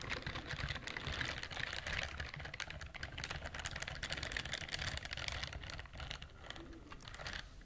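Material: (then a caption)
Silicone. Long fingernails scratch rapidly across the bristle nubs of a pink silicone dishwashing glove worn on the other hand, held up by the microphone. The result is a dense, continuous flurry of quick, dry, crackly ticks with bright high-end hiss over a soft low rumble, staying fairly even and fading slightly at the end.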